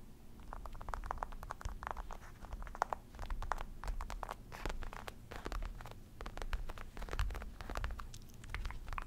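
Fingertips and short nails of both hands scratch and tap a padded, soft black faux leather office chair backrest with a mesh fabric rim. The result is a quiet, dense run of short dry scratches and patters, each with a brief bright edge over a low, dull thump, and no ring after the strokes.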